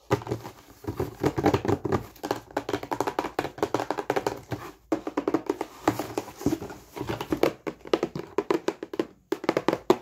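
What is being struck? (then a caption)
Cardboard game box. A hollow, medium printed cardboard board-game box (Wet Head), held upright, is tapped quickly with the fingertips and short nails, and its flap is opened partway through. The result is a dense stream of dull, hollow, mid-pitched taps with very short ring, broken by a few brief pauses.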